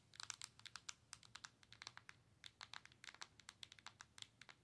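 Long nails tap the glass touchscreen and plastic body of a Nintendo Switch handheld console, producing a rapid, irregular run of about thirty crisp, bright clicks. Each tap is very short and dry with almost no ring, and the taps sit over a faint low hum.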